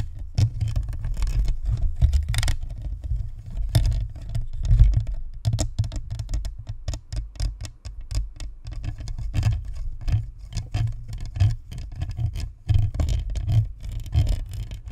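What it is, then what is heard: Plastic microphone shell tapped and scratched. Long nails of both hands tap and scratch the top and sides of a hollow, white plastic spherical USB microphone. The result is a dense, continuous patter of quick, dry clicks with a deep, boomy low-end thump, plus faint bright scratchy ticks above.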